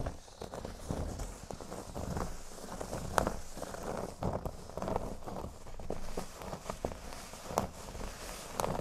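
Fingertips and nails scratch and rub the centre of a large, flat, solid cork board shaped like a speech bubble. The result is a soft, dry, continuous rustling scrape in irregular strokes, dominated by low and lower-mid tones, with occasional sharper scratchy clicks that catch a bright edge.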